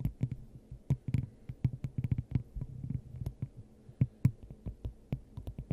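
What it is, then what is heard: Glass dome tapped with nails. Long acrylic nails tap on a clear, hollow, hand-sized glass dome fitted over the top of a microphone. The result is a quick, irregular stream of short, deep, muffled thumps, each with a faint bright click on top. The taps die away almost instantly, leaving a low hum between them.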